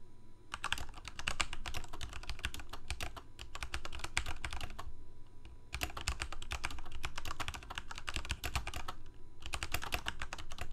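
Fingertips of both hands type rapidly on a full-size black plastic Corsair mechanical keyboard with lit keycaps. Bursts of quick, bright clicking keystrokes are separated by two short pauses, over a steady low hum.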